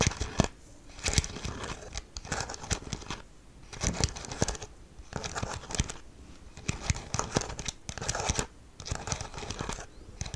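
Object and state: Plastic TV remote control.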